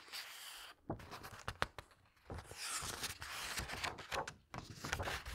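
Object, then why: Glossy paper pages of a thick hardcover book. Hands with long red nails quickly flip the glossy paper pages of a large, thick hardcover book lying open on a table, then smooth them flat. Crisp, bright rustling swishes mix with sharp flicks and soft thumps as each page falls, followed by quieter brushing as the pages are pressed down.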